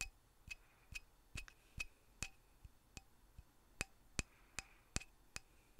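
Light taps on the handle of a lignum vitae wooden mallet make a steady series of short, dry knocks, about two to three per second at an uneven pace. Each tap is a sharp click with a faint bright ring and a soft low thump. The sound is quiet, and each tap dies away almost at once.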